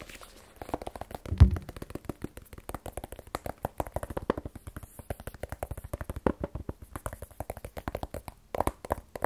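A small, black, rigid cardboard iPhone 12 Pro box, hollow with the phone inside, is held in one hand and tapped with the fingertips of the other. A long, rapid run of short, dull, low, hollow thuds dies away almost instantly, with one louder knock early on.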